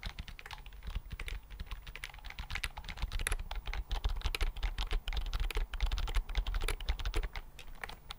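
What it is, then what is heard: Plastic computer keyboard being typed on. Fingertips type on a slim white plastic computer keyboard held upright and flat in front of the mic. A steady, irregular stream of short, dry key clicks is heard, bright on top with a low thump underneath, each tap dying away almost instantly.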